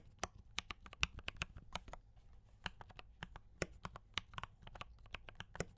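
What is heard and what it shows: Fingertips type on a compact D84 mechanical keyboard with brown switches and cream and red plastic keycaps. Quick, dry clicks and clacks fall in an uneven stream, each with a bright, sharp top and almost no ring, over a low, steady background hum.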